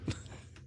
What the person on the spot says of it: There's not wood under there. Plastic. It's plastic.